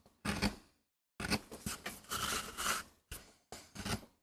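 A gloved hand pushes a wooden-handled metal gouge across a small, palm-to-hand-sized flat solid MDF board inked with a rose design for a relief print, while the other hand holds the board on a rubber mat. The carving and scraping come as a series of short, gritty, bright strokes separated by brief silences, with a lower rasp under each cut.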